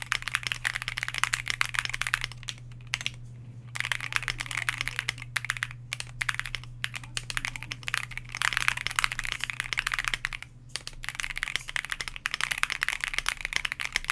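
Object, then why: Mechanical keyboard with PBT plastic keycaps. A white Bakeneko60 60% mechanical keyboard with KTT Grapefruit switches, a plastic case, an FR4 plate and PBT dye-sub keycaps sits on a desk mat and is typed on continuously with the fingertips of both hands. Rapid, bright, short clacky keystrokes run throughout, with brief pauses near 3.5 and 10.7 seconds. A steady low hum sits underneath.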